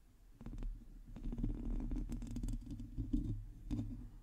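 Long teal acrylic nails on both hands scratch the hollow metal mesh head of a large black microphone. The result is a close, muffled, low rumbling scrape broken by scattered soft clicks and taps that rise and fall in loudness.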